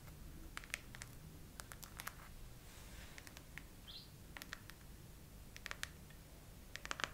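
Long nails tap the raised heart-shaped domes of a chrome plastic phone case on a phone mounted on a tripod, mostly with one hand. Slow, scattered, crisp little clicks with no ring sound quietly over a low background hiss and rumble.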